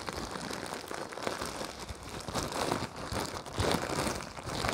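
Fingers crumple, unfold and crinkle a thin, clear-white printed plastic wrapper. A continuous stream of dense, broadband crackles and crinkles rises and falls in intensity, with bright rustling texture throughout.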